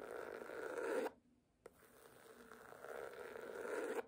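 Long nails scratch across the cover of a red cloth hardcover book lying flat, producing a dry, rasping scrape centered in the low-mid and midrange. A one-second stroke swells and stops abruptly, followed by a near-silent pause and a small tick. A second, longer stroke then builds steadily for over two seconds before cutting off.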